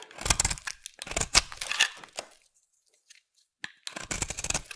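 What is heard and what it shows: A solid pink oval bar of soap, held in the hand, is carved and scraped with a utility knife blade. Bright, dry scraping and shaving strokes crackle in quick bursts, pause into near silence for about a second, then resume.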